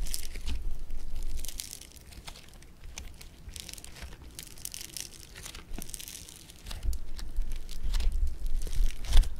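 Blue foam bead clay (floam) is flattened, stretched and pressed with fingers and thumb, making dense, bright crackling and popping over a low rumble. The crackling is busy at the start, softens through the middle, then grows louder and sharper toward the end.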